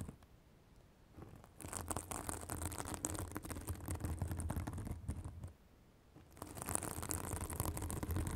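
Long acrylic nails scratch a white, fibrous synthetic bath sponge held above a microphone, making dense, rapid crackly scratching with a bright hiss and a low rumble. The scratching runs in two stretches separated by a brief quiet pause.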